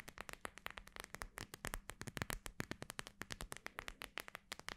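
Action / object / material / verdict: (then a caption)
tap / gel bead eye mask with plastic cover / plastic / none. Long nails tap and scratch quickly across the clear plastic front of a hand-sized cooling eye mask filled with small gel beads, with beige fabric trim, soft, flexible and not hollow. The result is a rapid run of short, dry, bright clicks and crackly scrapes that die away almost instantly, over a faint steady low hum.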